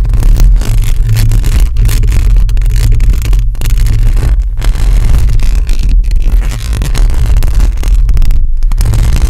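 Long acrylic nails on both hands scratch across a hollow metal mesh microphone grille. The result is a loud, continuous, bass-heavy rasping rumble centered near 94 Hz, with only brief dips where the scratching pauses.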